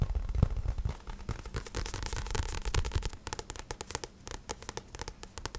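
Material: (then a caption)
Card. Fingertips tap and scratch the glossy card cover of a paperback book, making quick, uneven dry taps with dull low thumps and crackly scratching. The sound is busiest and loudest at the start and thins into softer, more separate taps toward the end.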